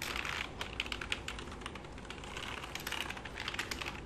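Fingertips and short nails type and tap on the keys of a black full-size plastic computer keyboard resting on a lap, while a hand rubs across the keys. Quick, bright plastic clicks and taps patter steadily over a soft, hissy rubbing texture at a quiet level.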